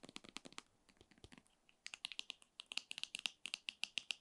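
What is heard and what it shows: Long nails tap and scratch the surface of a filled white 60 ml soft plastic foot cream tube, about 15 cm long. A quick run of sharp, dry clicks has almost no low end and a bright tick near 2.7 kHz. Each tap dies away instantly, and the taps grow crisper and more even toward the end.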